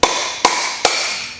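A steel upper wheel bearing race is driven into the hub with three distinct hammer strikes. Each strike is a sharp, bright metallic clank that rings out briefly. The race ends up fully seated, all the way in.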